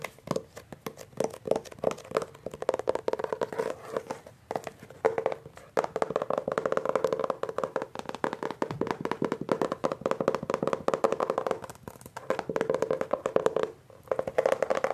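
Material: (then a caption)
Laminated paperboard. Short-nailed fingertips rapidly tap and scratch the front of a Hardy Boys hardcover book, "The Secret Warning," whose glossy laminated paperboard cover sounds solid. The result is dense, dry clicking and scraping centered in the midrange around 450 Hz, with little low end or high brightness. Each tap dies away almost instantly, with brief pauses between bursts.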